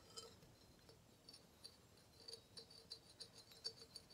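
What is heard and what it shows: A small, hollow, empty engraved brass vase is held in the hands and tapped with fingertips, nails and rings, giving about a dozen quiet, light metallic clinks. Each tap has a bright, high ring that dies away almost at once, with very little low end.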